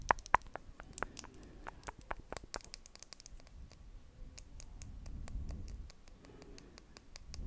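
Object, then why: Plastic lip balm tube. Long acrylic nails tap and scratch a small pink Nivea lip balm stick with a plastic casing and solid inside. Two sharp, loud clicks open the clip, followed by a quick, irregular patter of short, bright ticks over a soft, low scratching rustle throughout.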